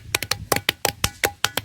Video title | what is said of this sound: PERADABAN TERTUA ADA DI GUNUNG PADANG CIANJUR - PART 1 - | kalau dipukul ini nyaring suaranya seperti besi